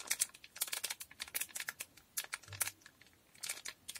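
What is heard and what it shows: A small, square, blue foil Durex condom packet, sealed and full, is held in both hands and tapped, scratched and crinkled with long painted nails. About twenty quiet, bright, crisp foil crackles and ticks come in uneven bursts with short silent gaps, each dying away almost instantly and with almost no low end.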